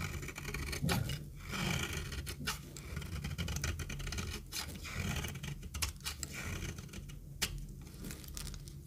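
A metal knife shaves crumbly flakes off a very dry, rectangular, solid orange retro soap bar held in the hand. Repeated crisp, scratchy scraping strokes with bright crackling bursts sit over a steady low rumble.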